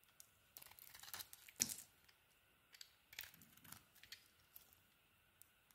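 A hand with long dark nails carves an orange bar of soap with a green coating using a utility knife blade. Quiet, bright, crisp scraping and shaving sounds come in short bursts, with one sharper cut standing out, and almost no low end.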